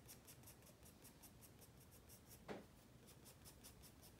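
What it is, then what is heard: Pencil drawing on sketchbook paper. A wooden graphite pencil held in the fingers rubs and scratches across a white spiral-bound paper sketchpad lying flat on a wooden desk while drawing. Quiet, rhythmic, high, hissy strokes repeat steadily, with one louder, sharper scratch about halfway through.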